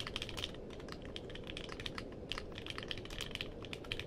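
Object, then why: Mechanical keyboard with plastic keycaps. Fingertips type quickly on a compact mechanical keyboard with a purple case and plastic keycaps, producing a steady stream of short, bright clacks that ring near 2.8 kHz. The keystrokes arrive unevenly over a constant low noise bed.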